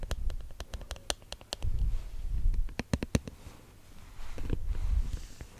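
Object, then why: Eyeglasses. A pair of reading glasses is tapped repeatedly with light, quick clicks. The taps are sharp and short, set over a low rumbling murmur. Bursts of taps come in the first second and a half and again around three seconds, and a softer brushing noise follows near the end.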